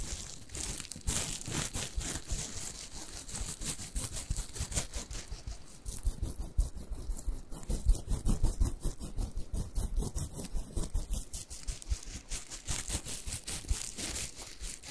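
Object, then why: Stuffed plush fabric carrot toy. Fingernails scratch and rub the fabric of a small orange plush carrot cat toy with a smiling face and green leaves, soft and stuffed. The result is a steady run of soft, dry scratching and rustling with a low, muffled body. Brief bright, crisp edges come through as the nails drag across the cloth.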